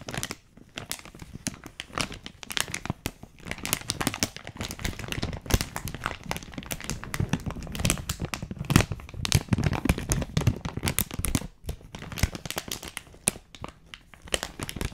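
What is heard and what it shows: A small, closed, printed plastic or foil candy or snack wrapper is held in both hands close to a microphone while long-nailed fingertips squeeze and crinkle it. Dense, bright crackling and crinkling runs for about fifteen seconds, with brief quieter dips near the start and around eleven and a half seconds.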